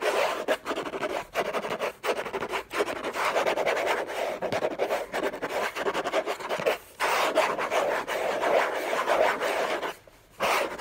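Short fingernails rapidly scratch the hollow lid of a large, flat, orange Hermès cardboard gift box. The result is a dense, dry, raspy scratching centered in the midrange with some brighter grit on top, broken by brief pauses around 7 and 10 seconds.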